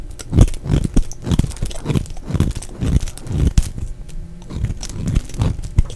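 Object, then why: Bar of soap scraped with a knife blade. A solid, dry cream-colored bar of soap held in the hand is scraped and shaved with a black snap-off utility knife blade, curling off shavings. Repeated short, dull scraping strokes with soft crunchy edges are heard, weighted heavily toward low tones with little brightness and almost no ring after each stroke.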